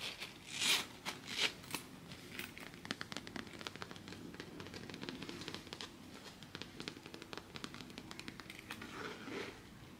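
A hand-sized, zip-around coated canvas wallet with a faux leather stripe is held, tapped and scratched with long fingernails. The result is a dense, irregular stream of bright, crinkly scratches and quick dry ticks. A few louder rasping swells come near the start and again just before the end.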